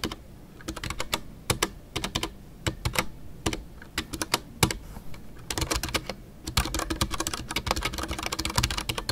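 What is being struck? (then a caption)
Mechanical keyboard with PBT plastic keycaps. Fingertips type continuously on a full-size Ducky One 2 mechanical keyboard with a white case, MX Brown switches and custom artisanal PBT plastic keycaps. Short, bright key taps with a low thock land in uneven bursts, growing denser and busier toward the end.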